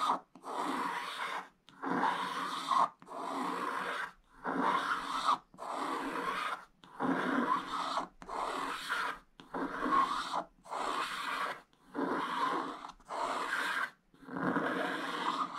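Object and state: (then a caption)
Scratch-art paper being scratched. A wooden stylus scratches a black-coated scratch-art card page in fourteen repeated strokes while a hand steadies the book, piling up coating flakes on the page. Each stroke is a dry, raspy scrape centered around 1 kHz with bright hiss and almost no low end, separated by brief silences.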